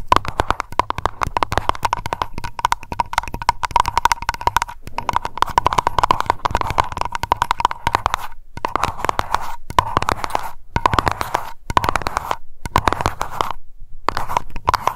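Long nails tap rapidly on a small glass aroma candle jar labeled Lavender and filled with wax. The result is a dense stream of quick, crisp clicks over a steady ringing tone around 1 kHz, broken by a few brief pauses.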